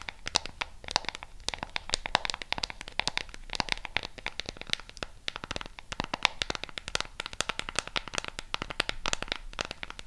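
Long pink nails rapidly tap and scratch the colored rubber buttons and edges of a flat black plastic LED remote control. The result is a dense, continuous stream of dry, sharp clicks and scratchy ticks, bright and crisp, each dying away instantly with no ring.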